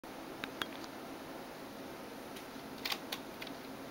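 Long nails and fingertips tap the keys of a backlit plastic Razer Tron gaming keyboard on a desk, giving six sharp, bright plastic clicks. The clicks come in two loose clusters, early and late, over a steady low hiss, and each one dies away almost instantly.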